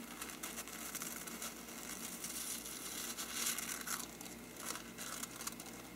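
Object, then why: Paper lampshade. A hollow faux-parchment paper lampshade is first brushed with a small brush, then its paper side is scratched with the fingertips. The result is a steady, bright, dry rustling and crinkly scratching, with little low end and small swells in loudness.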